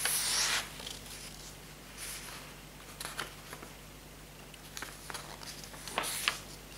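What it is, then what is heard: Paper notebook pages being flipped. Fingertips lift and flip the paper pages of a thick hardcover notebook with a green patterned cover lying open on a table. A loud burst of bright rustling at the start gives way to soft, steady brushing of the sheets, broken by short crisp paper flicks. The sharpest flick comes near the end.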